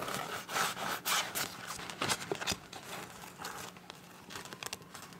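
Long nails scratch and tap the surface of a clear, soft PVC zip pouch with teal print and a zipper edge. The result is a quiet, bright crinkling and scraping texture, broken up by irregular sharp taps that die away almost instantly.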